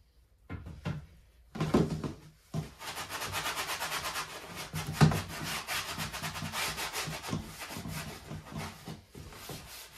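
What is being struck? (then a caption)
Plastic dish drainer rack. A gloved hand scrubs the inside of an empty, hollow white plastic dish drying rack with a sponge, then tilts the rack up and keeps scrubbing. A few short rubbing bursts give way to steady, dense scraping and swishing with a hollow low body and a bright, hissy top, and a couple of sharper knocks stand out along the way.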